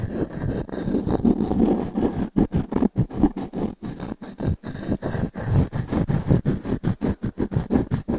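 The edge of a small wooden cube is scratched across the ring grain of a solid round pine log-slice coaster held in the palm. A dry, woody scraping with a low, warm body starts as a steady rasp, then breaks into quick, irregular short strokes with brief silent gaps between them. Each stroke stops dead, with no ring after it.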